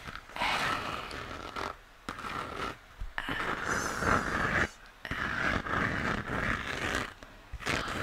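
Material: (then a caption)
Plastic. Fingernails scratch and tap the textured shell of a hollow plastic moon lamp, lit pink and held in the hands. The sound is a series of dry, rasping strokes with a bright hollow tone, separated by brief quiet pauses.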